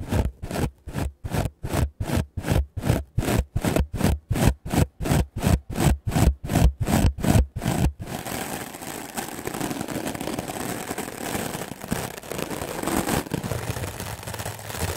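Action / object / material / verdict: scrape / melamine foam sponge / melamine foam / none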